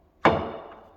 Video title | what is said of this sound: Floors are DONE! - And Electrical is Coming Together | they're a little wiggly. Right, if I shake the baluster, you hear it.